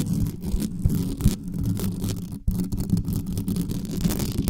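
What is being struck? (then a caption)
Metal mesh microphone grille. Long manicured nails scratch fast over the metal mesh grille of a black studio microphone on a stand. The result is a dense, continuous rumbling scrape, heavy in the lows around 200 Hz with little brightness. It drops out briefly just before the midpoint, then resumes.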